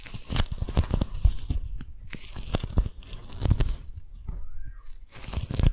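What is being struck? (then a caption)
Beeswax-coated cotton food wrap. A single strawberry-print beeswax-coated cotton food wrap is held taut between both hands close to the microphones while long nails scratch and tap the stiff waxed fabric. Dense crinkling, scratchy tearing-like rasps and quick crunchy taps come in bursts with brief quieter gaps, each tap dying away almost at once.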